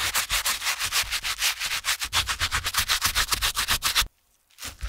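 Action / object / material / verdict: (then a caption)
scrape / canvas slip-on shoe / canvas / none. The soapy heel area of a TOMS canvas slip-on shoe is scrubbed with a stiff-bristled brush held in a gloved hand. About 21 quick, bright, scratchy brushing strokes rub back and forth across the fabric in a steady rhythm. The scrubbing stops briefly near the end, then resumes more softly.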